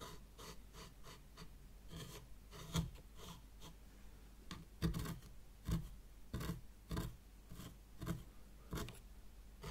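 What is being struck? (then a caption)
Fine sand in a small tray, scraped with a thin stick. A thin white stick, held by fingers with long nails, is dragged and scratched through a shallow layer of fine white sand in a small hexagonal zen garden tray. It makes quiet, dry, raspy strokes that repeat in short bursts, some sharper and louder than others, over a soft low background.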